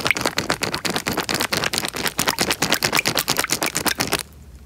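A small clear plastic bag filled with water is pressed and crinkled by fingers close to the microphone. It makes a dense run of bright, crackling crinkles with a faint wet squish, mostly high-pitched with little low end. The crinkling stops abruptly just after four seconds, leaving only a quiet hiss.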